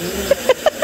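A temporary water storage container is knocked four times to check its contents, each knock a short, hollow tap with a mid-pitched tone around 560 Hz and almost no ring. The knocks confirm the container already holds water.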